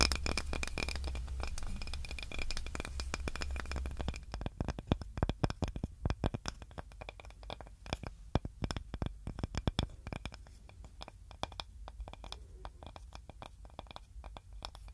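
Long nails scratch and tap on a small, solid, flat, light-coloured wooden serving board with a handle, making dense, dry clicks and scrapes. A low hum sits under the first four seconds, then stops as the pickup changes. After that the taps sound sharper and more separated over quieter gaps.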